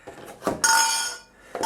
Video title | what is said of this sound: Розпаковка подарункового набору пива Krombacher . Weizen, Pils та нульовка | ця коробка все-таки не ідеальна пляшки і бокал недостатньо зафіксовані